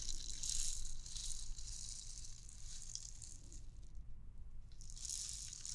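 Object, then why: Hollow plastic bauble ornament with loose beads. A clear, transparent hollow plastic bauble ornament with beads inside is tapped with long nails and shaken. The beads make bright, hissy rattling bursts over a low steady rumble, fade almost to silence for a moment, then start again toward the end.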